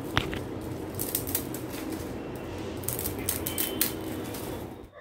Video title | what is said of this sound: थंडीच्या सिझन मध्ये अगदी हॉटेल सारखे गरमागरम मनचाव सूप - Veg Manchaw Soup - व्हेज मनचाव सूप - | crispy fried noodles आपले तयार झाले आहेत आणि अजिबात तेलकटही नाही झाले मस्त कुरकुरीत आवाज येतोय